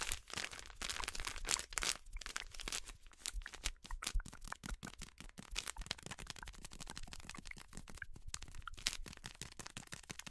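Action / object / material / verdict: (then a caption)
scrape / plastic foil snack bag / plastic foil / none. An orange printed plastic/foil snack bag is crinkled and crumpled between fingers with long nails. Dense, bright crackling and sharp crunchy snaps run continuously for about ten seconds over a faint low rumble, with brief quieter gaps between bursts.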